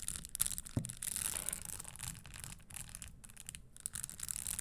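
Long nails brush and scratch across the studded surface of a red spiked leather stiletto pump held upright, making dry, bright scraping and rasping sounds. One sharp click stands out among fast, irregular scratches over a low background rumble.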